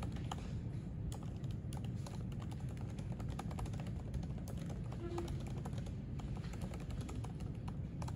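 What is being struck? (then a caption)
Laptop keyboard with plastic keys. Fingertips type quickly on the plastic keys of a silver aluminium MacBook keyboard resting on a white desk. Dense, light clicks and taps run continuously over a steady low background hum.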